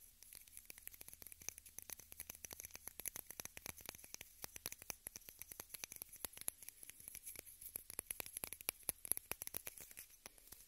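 A small rectangular pink plastic case held in both hands is tapped and scratched with long red nails. Dozens of quiet, quick, bright clicks patter in rapid, irregular bursts with no ring, over a faint steady low hum.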